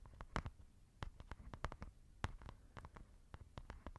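Long nails scratch and tap a white textured fabric makeup pouch that is soft and hollow. The result is a quick, uneven run of soft, muffled taps with low, thuddy bodies and short bright clicks at the nail contact, over a faint scratchy rustle. Each tap dies away almost immediately.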